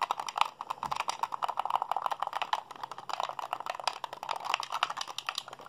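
A white, hollow plastic Xbox handheld controller is held in both hands while fingertips and thumbs rapidly mash its buttons. The result is a dense, uneven stream of short, dry plastic clicks and rattles, centered in the midrange around 900 Hz with some bright edges and almost no low end. The clicks die away instantly and keep coming for the whole clip.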